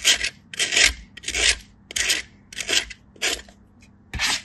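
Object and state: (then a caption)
Bar soap grated on a metal grater. A solid pale block of bar soap is pushed with the fingertips, which have long blue nails, across a small stainless steel grater held in the hand. Seven separate raspy scraping strokes come in a loose rhythm, each a bright, hissy grating burst with a short gap of quiet between them.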